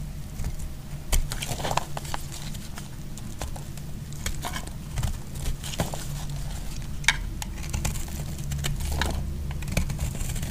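A solid green bar of soap is scraped and cut with a metal blade. The result is a steady run of crisp, dry scraping and sharp cutting clicks over a low background rumble. Some strokes stand out as bright snaps.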